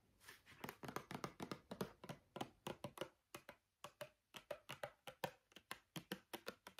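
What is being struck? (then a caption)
Small plastic bottle of oil. A small brown translucent plastic argan body-oil bottle with a gold cap, apparently filled with liquid, is tapped and scratched with fingernails. About 33 quick, dry, hollow taps come in an uneven stream with a short pause near the middle; each carries a soft midrange tone around 530 Hz that dies away almost instantly. Faint scratching fills the spaces between taps, and the whole clip is quiet and close.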